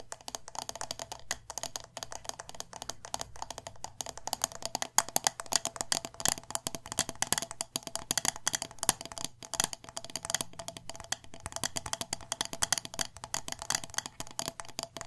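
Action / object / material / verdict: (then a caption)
tap / wax-filled glass jar with metal lid / glass / none. The glass sides of a medium glass candle jar filled with wax, with a metal lid, are tapped rapidly with long nails. The result is a dense, continuous stream of short, bright clicks with no ring, steady in pace for the whole clip, over a faint low hum.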